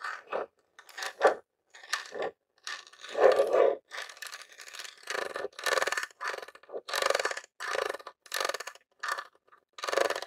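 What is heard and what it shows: Fingertips and nails tap and scratch the top of a grey plastic Nintendo mini game console, a hollow box. Short bursts of dry, hollow plastic clicks and scratchy scraping repeat with brief silent gaps between them. The sound centers in the low mids around 500 Hz with bright hiss on top, and each burst dies almost at once with no ring.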